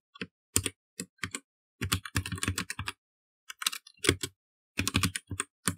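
Fast typing with the fingertips of both hands on a black plastic mechanical computer keyboard, with dense bursts of key presses separated by short pauses. Each keystroke gives a short, sharp click with a low thock underneath and bright clatter on top.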